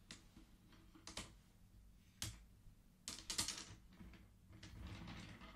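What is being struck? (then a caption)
Wooden abacus beads on metal rods. Fingertips slide colored wooden beads back across the metal rods of a wooden abacus so they click together. The sound is irregular bursts of quiet, sharp, bright wooden clicks and clacks that die away quickly, with short rattling clusters between them.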